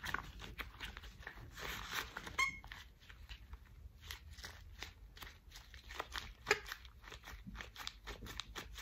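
Thick cream rubber household gloves are worn while the gloved hands are rubbed together and squeezed. The result is a run of squeaky rubber sounds and bright, crinkly friction, with short sharp squeaks standing out above a soft rustle.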